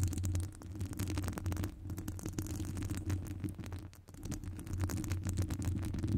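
Long acrylic nails scratch and tap across the hollow metal wire-mesh grille of a large round microphone with no foam cover. The result is a dense, continuous crackle of scratchy ticks over a heavy, boomy low rumble, with a brief quieter stretch near the four-second mark.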